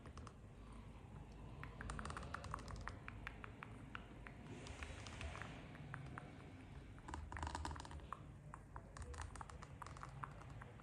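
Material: Rubber.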